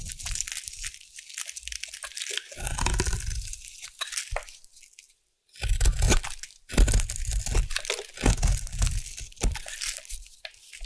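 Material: Soap.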